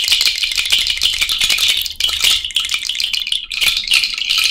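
A cowrie shell bracelet is held up on the fingers and shaken, making a continuous bright rattle of many quick, clicking shell taps. The sound stays dense and steady throughout, with only brief dips around the two- and three-and-a-half-second marks.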